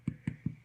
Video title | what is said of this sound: Scallion Soda Bread | give it a tap to hear that hollowness